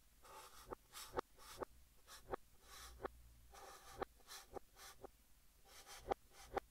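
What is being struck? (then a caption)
Chalk stick on a chalkboard. Fingertips hold a stick of yellow chalk and write text on a large, flat green chalkboard, scratching it across the surface. Quiet, bright, hissing scrapes come in short bursts, punctuated by about eight sharp, dry taps as the chalk strikes the board.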